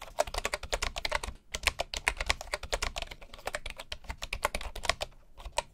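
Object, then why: Bamboo wooden keyboard keys. Both hands type with their fingertips on the wooden keys of a bamboo keyboard, producing a fast run of about 39 short, dry clicks with almost no ring. Each click is a sharp, bright tap with a woody tone around 680 Hz over a faint low thump, broken by a brief pause partway through.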